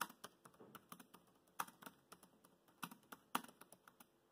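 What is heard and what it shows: Fingertips type on the black plastic chiclet keys of a dark grey laptop keyboard, making about 21 quiet, crisp clicks in an uneven rhythm. Each tap is a short, dry, bright click with almost no low end and dies away almost instantly, and a few strokes land harder than the rest.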